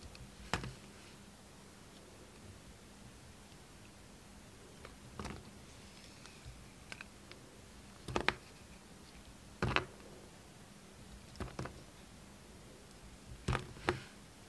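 A solid, hand-sized white bar of soap with yellow stripes is shaved with the steel blade of a red utility knife. Short, crisp scraping cuts come in sparse bursts over a quiet background with a faint low, steady hum. Each cut is brief and dry, with bright edges and almost no ring.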